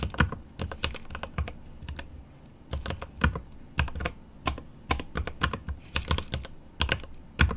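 Fingertips of a right hand type on a mechanical keyboard with plastic keycaps and an aluminum case. Quick, dry keystrokes come in irregular bursts, each a short bright click over a deep thump. A brief lull near the two-second mark separates the bursts.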